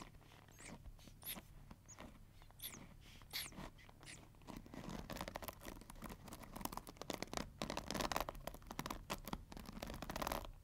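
Long nails rub and flick across the black plastic pins of a pink plastic paddle hair brush. At first there are slow, scattered scrapes with bright rising swishes. These give way to a dense run of quick, crisp plastic ticks and clicks over a faint low hum.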